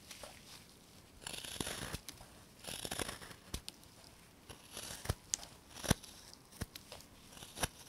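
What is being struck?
Basswood block under a steel knife.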